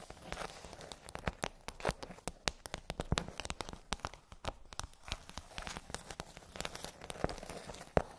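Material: Plastic.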